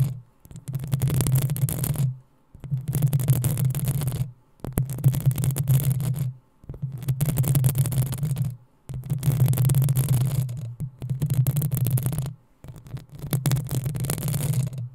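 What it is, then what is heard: Metal mesh microphone grille being scratched. Long nails scratch the hollow metal mesh grille of a black desktop microphone in seven separate bursts of about two seconds each, with short silent gaps between them. Each burst is a dense, scraping rasp with a heavy low rumble and a faint bright hiss above it.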